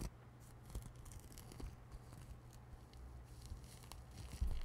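Long manicured nails scratch and rub across a soft, hollow, grey-white knit nylon exfoliating shower glove worn on one hand and held up in front of the microphone. The result is quiet, dry, scratchy rustling with brief bright fabric scrapes over a steady low hum, ending in a slightly louder rub.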